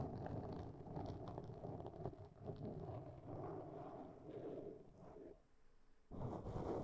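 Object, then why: Foam microphone windscreen. Long fingernails of both hands scratch and rub a black foam windscreen on a microphone, producing a dense, muffled rustling and crackling concentrated in the low and lower-mid range. The scraping continues steadily, fades to near-silence briefly toward the end, then resumes at full strength.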